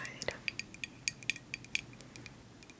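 A vintage 1970s Hermès Calèche glass perfume bottle is handled and tapped, producing a quick, irregular series of light, bright glassy clinks and taps. Each tap is sharp, centered high around 2.4 kHz, and dies away almost instantly with little low-end body.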